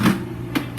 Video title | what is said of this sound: Making Bread | if you tap it it has kind of a hollow feel